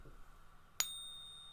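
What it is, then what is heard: Genuine precious metal coin ringing true. A precious metal coin, said not to be gold, rests on the silicone tabs of a pocket pinger and is tapped once with a soft wooden stack stick. A single sharp tap gives a clear, high-pitched ring, the kind expected from genuine bullion, that sustains steadily to the end of the clip.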